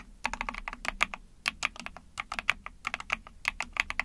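Rapid typing with long painted nails and fingertips on a small 44-key Epomaker TH40 mechanical keyboard with an ABS plastic case, PC plate and backlit pink and white keycaps. Quick, bright, sharp clacks with almost no low end and very short decay run in an uneven stream, with some strokes louder than others.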